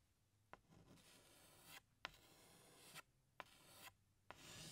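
A tan chalk stick is drawn across a large flat black chalkboard by hand, sketching a flower outline. Four strokes are heard, each opening with a sharp tap as the chalk meets the board, followed by a steady, bright scratching rasp that swells at the end before a short pause.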